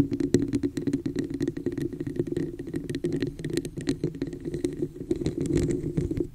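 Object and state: Plastic cup tapped and scratched.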